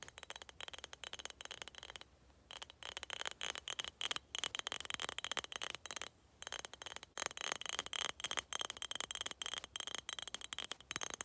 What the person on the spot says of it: tapping on skull cup (glass sounds)